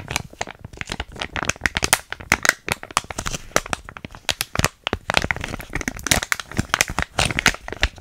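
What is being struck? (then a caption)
Foil-lined paper sachet. A small, thin, soft foil-lined paper cosmetic sachet, a biotin hair mask packet, is held in both hands close to the mic and crinkled and squeezed with fingertips and long painted nails. Dense, bright, dry crackles and crinkles come in quick bursts with short pauses, with no ring after each snap.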